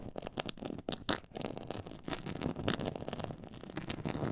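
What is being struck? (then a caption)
Textured faux leather board. Long nails scratch across a black pyramid-textured faux leather board, making a dense, crackly scraping in quick, uneven bursts. The rasp is broad and bright, with short grainy peaks over a soft low rumble and almost no ring after each stroke.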